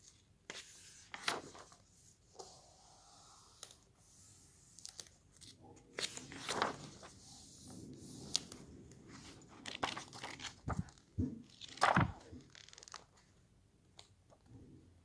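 A hand rubs the glossy photo pages of an open hardcover book flat and flips them, producing soft paper swishes, crinkles and sharp tearing-like rustles with quiet pauses between. The sound is close and fairly quiet, with brief bright page snaps standing out from the low rubbing.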